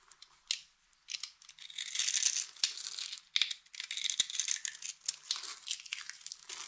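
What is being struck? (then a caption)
Bar of soap cut with a blade. A utility knife blade carves scored cubes off the surface of a solid, hand-sized, light green bar of dry soap held in the palm and steadied by long-nailed fingers. The sound is a dry, bright, crackling scrape with rapid crisp ticks and crumbly crunches, all in the high range with no low body.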